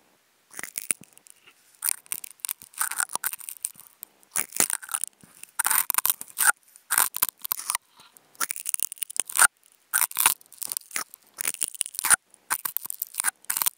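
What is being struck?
Nonwoven fabric sheet scratched with wooden toothpicks.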